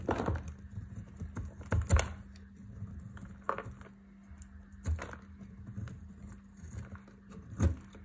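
A metal utility-knife blade shaves a solid, dry, palm-sized pink Lux bar soap held in the hand, carving off curls beside a pile of beige soap crumbs. Short, dry scratches and scrapes come in uneven bursts with quieter gaps between them. The sound is mostly low and dull, with brief brighter edges on the sharper cuts.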